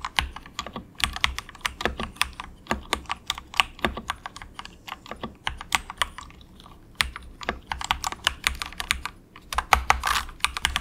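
Fingertips of both hands type softly on a very cheap, compact 68-key plastic mechanical keyboard with a hollow case, resting on a desk mat. Dozens of quick, bright, clacky keystrokes each carry a short hollow ring around 1.1 kHz over a low thump. The typing runs steadily, with a brief pause just before the 7-second mark and a denser flurry near the end.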